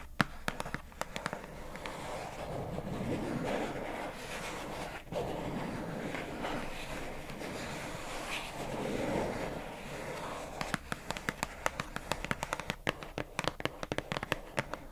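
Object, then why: Plastic storage box with paper label. Long nails tap quick, sharp clicks on the labelled front panel of a hollow pink plastic squishy storage box with a paper label. The crisp taps come in bursts at the start and end, with a stretch of soft, low rustling noise in between.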